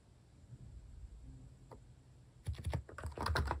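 Fingertips type across a capacitive keyboard with plastic cat-shaped keycaps. After about two seconds of quiet low background hum, a quick run of soft, muted keystrokes comes in, each press a short dull thock with a light click that stops almost at once.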